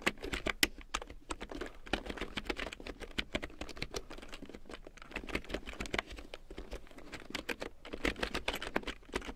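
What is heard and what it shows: Long nails and fingertips type quickly on a black plastic computer keyboard with yellow large-print keycaps. Dense, bright, clicky taps and clacks run steadily throughout, each one dry and short, with occasional louder strikes over a faint low hum.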